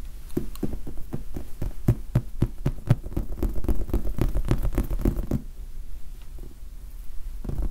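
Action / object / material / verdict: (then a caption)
tap / foam sponge die / foam / none. A large red foam sponge die held close to the microphone is tapped and scratched with the fingertips. Soft, dull, low thumps come in an uneven run of quick taps with almost no ring, over a muffled scratchy rustle. The tapping stops after about five seconds, leaving a quieter rustle before one last soft tap near the end.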